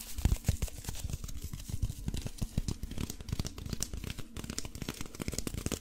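A handheld folding fan made of brown paper with wooden ribs is opened, closed and rubbed between the hands. It gives a dense run of crinkly paper rustles and quick tearing-like crackles over soft low thumps, with bright papery texture on top and no ringing after each sound.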